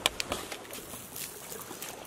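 A fallen coconut is shaken on shore to listen for water sloshing inside, since coconuts with water are good to eat. Only a few short, dry clicks and rattles are heard over a quiet, airy background, with no sloshing. The coconut is empty.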